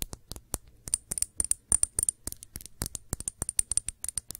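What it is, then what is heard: Glass shot glass. Long nails tap the side and rim of a small, clear, empty glass shot glass held in the hands. The result is a quick, irregular run of short, bright clicks with a faint high ring that dies away almost at once. Many taps can be counted, about 27 in all.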